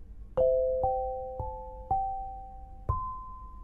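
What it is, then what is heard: Granite lithophone bars. An eight-bar lithophone of solid polished black granite slabs, about 70 cm long and 7.5 kg, rests on a low frame on a carpet and is struck with two soft-headed mallets with red and green balls on wooden sticks. It plays a short melody of several clear, pure, bell-like tones in the mid range. Each note rings on for about a second and fades slowly.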